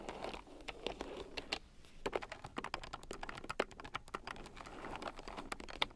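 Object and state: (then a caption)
Plastic keyboard with round keycaps being typed on. A red plastic keyboard with round, typewriter-style plastic keycaps, lying on a fur rug, is typed on with fingertips and long nails. It makes a fast, uneven stream of short, sharp, bright clicks and taps that die away instantly, with a soft rustling underneath and brief pauses between bursts.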